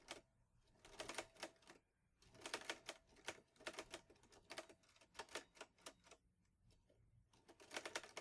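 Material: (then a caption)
Metal. Fingertips type on the keys of a green metal portable manual typewriter, an Olivetti Lettera 22. Quick runs of sharp, bright key strikes clack with short pauses between bursts, carrying a faint metallic ring in the mid range and almost no low end. Each strike dies away almost at once.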